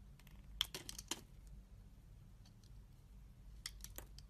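A metal utility-knife blade shaves thin slices off the surface of a solid, oval, hand-sized translucent green soap bar held in one hand, with soap packaging and shavings nearby. Short, crisp, bright scraping strokes come in a cluster early on and again near the end, over a steady low hum. The audio is 8D-processed.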